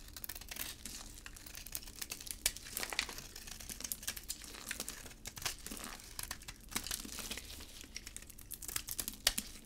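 A gloved hand holds a solid red embossed bar of hard, dry soap with a white interior while a utility blade carves chunks off it. Many quick, dry, bright crunching and crinkling scrapes come in a dense, uneven stream, with a few sharper cracks standing out as pieces break away.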